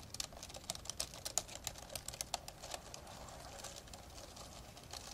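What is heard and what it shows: Fingertips type continuously with both hands on the plastic keys of an open, old dark grey plastic laptop. The result is a quiet, steady patter of short, dry, bright clicks and taps with almost no low end, with occasional slightly louder keystrokes standing out.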